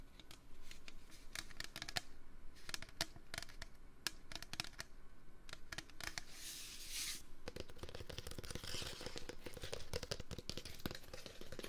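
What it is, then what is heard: Metal can. Fingers tap on a metal can for ASMR, making a dense stream of quick, dry taps with very little ring. A brief bright, hissy scratch rises around the middle, and busier low thumps follow in the later half.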